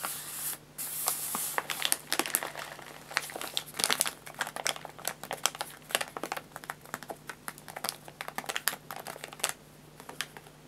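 A white paper bag of guinea pig food, filled with pellets and its top folded, lies flat on a lap while fingertips and short nails rapidly tap and scratch the paper. The result is a dense stream of dry, bright crinkles and crisp ticking taps, with a rougher scratching rush near the start. A faint, steady low hum sits underneath.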